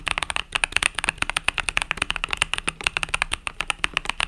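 Fingertips type rapidly on a compact mechanical keyboard with pastel purple-yellow plastic keycaps. About thirty quick, bright plastic clacks follow one another in an uneven run, each with a sharp click centered around 2.7 kHz and a little low thump beneath. The strokes are dry and short, with almost no ring.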